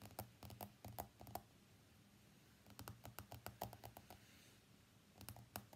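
Fingertips and nails tap rapidly on the glass screen of an iPhone X lying face up on a mat. The sharp, dry clicks come in quick bursts separated by short quiet pauses, over a low background hum.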